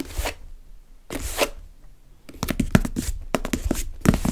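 Long red-painted nails scratch and tap the top of a small, closed, hollow brown cardboard box sealed with tape and sitting on a wooden table, and then both hands hold it. Two brief hissing scratches come first, followed by a quick run of hollow, dull taps mixed with short scratchy bursts.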